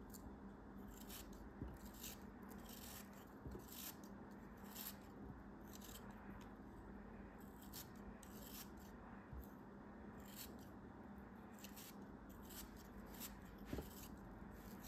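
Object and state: Kinetic sand block being cut.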